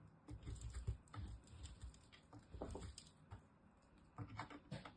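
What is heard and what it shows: A small, solid green-and-white striped bar of soap, held in fingertips with long nails, is rubbed down a green metal box grater, grating off shavings. Quiet, uneven scraping strokes come in short bursts, with a soft, low-heavy rasp and faint bright crackles on each pass.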